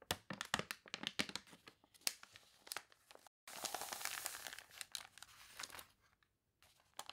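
Long nails scratch and fingers rub across the surface of an open paper catalog with water-wrinkled pages, producing dense, sharp, bright crinkling and crackling ticks with almost no low end. After a brief silence, a page turns in a louder, sustained, hissy rustle, then the scratching fades into scattered soft crackles and near silence.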